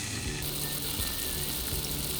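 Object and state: Nothing is struck.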